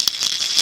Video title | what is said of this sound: Blind Tennis_ENG_0927 | I put tiny lead beads in it when you shake it you can hear a very distinctive sound